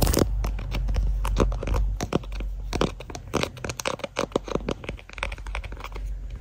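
Fingertips and short nails tap and scratch a transparent, hand-sized hollow plastic phone case with a white flower print and a MagSafe ring, fitted on the phone doing the recording and seen in a mirror. A rapid, irregular run of short, dry clicking taps and brief scratches sits over a steady low rumble. Each tap dies away almost instantly.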